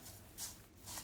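Double-fried sliced onions for biryani, fried till golden brown, are handled to show off their crunch. Brittle, bright crackling rustles come in two bursts, louder around the middle and again near the end. The sound shows how crispy the onions are.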